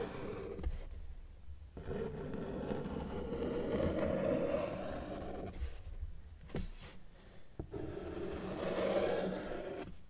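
A felt-tip marker tip is drawn across a flat white paper sheet on a table while outlining a cat, making scratchy rubbing strokes with a midrange squeak around 600 Hz. Long strokes are broken by brief quiet pauses and short taps as the marker lifts and sets down again.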